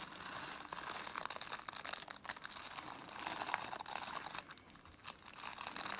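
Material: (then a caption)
Plastic. Long nails scratch back and forth over the dense, flexible bristles of a plastic brush, giving a continuous bright, crackly rustle. Close, dry scratching swells and fades in strokes without separate distinct hits.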